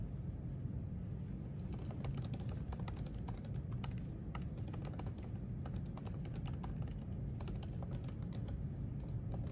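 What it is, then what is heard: Laptop keyboard typing. Fingertips type fast and continuously on the plastic keys of a silver aluminium MacBook laptop resting on a white desk. Sharp, crisp key clicks run in a steady stream over a constant low rumble.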